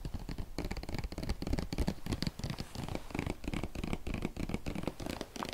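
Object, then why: Plastic bottle with paper label. A medium hollow plastic bottle with a paper label, its fill level unseen, is held in both hands and tapped and scratched with the fingertips and nails. The result is a dense run of quick, soft taps mixed with dry scratching, mostly low and dull, with a thin bright rasp on top.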